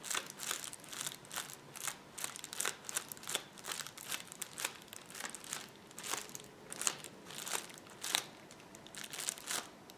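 A roll of clear plastic bubble wrap is pressed down by palms and fingertips, possibly popping some bubbles. A steady run of bright, sharp crunches and crackles comes in quick bursts, with almost no low end and no ring after each snap.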